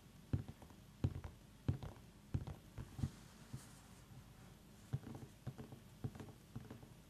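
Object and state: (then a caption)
Small pumpkin tapped with fingernails. Long nails tap and scratch the ribbed rind of a small whole orange pumpkin held in both hands. A series of short, dull, low-pitched knocks comes at an uneven pace, with soft scratching in between, and each tap dies away almost at once.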